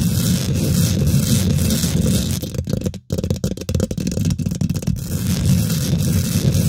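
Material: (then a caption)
Metal mesh. Long nails and fingertips on both hands quickly scratch and tap the domed, hollow woven metal mesh grille of a large silver condenser microphone. The result is a dense, boomy rumble of low scratching with a faint bright hiss, broken by a brief silence around the midpoint and then choppier bursts of rapid taps before the steady scratching returns.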